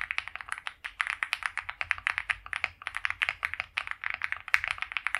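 Both hands type continuously on a white compact mechanical keyboard with PBT doubleshot keycaps, a polycarbonate plate and a foam-filled plastic case, resting on a felt mat, fingertips pressing the keys. Around forty quick, separate keystrokes sound as crisp, bright clacks centered near 2.2 kHz, with almost no low end. Each keystroke cuts off almost instantly.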